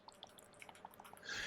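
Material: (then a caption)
Metal. An opened, used 1970s or 1980s metal enamel model paint tin, matt number 34, is shaken close up, giving sharp little clicks and liquid sloshing that builds into a brighter hiss at the end. The sloshing shows there is still plenty of liquid paint inside that has not gone solid, so the paint is still good.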